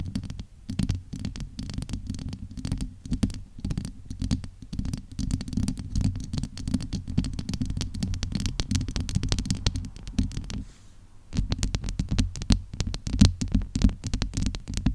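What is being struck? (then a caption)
Steel-mesh microphone grille. Long acrylic nails and fingertips rub and scratch the domed, hollow steel-mesh grille of a large USB microphone. The result is a dense, continuous run of crackling scratches over a deep, booming low rumble. The sound briefly drops to a quieter lull just before the eleven-second mark, then resumes.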